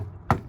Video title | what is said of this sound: Sentinel Coop TSC | it's solid wood when you knock on that it's not a hollow sound it's a very solid wood sound